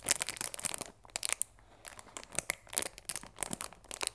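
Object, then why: Cardboard tea box wrapped in clear plastic film. Fingers squeeze and rub the clear plastic film at the edges of a cellophane-wrapped cardboard chamomile tea box. The result is dense bursts of bright, crisp crinkling and crackling, with a brief quiet pause partway through before the crinkling resumes.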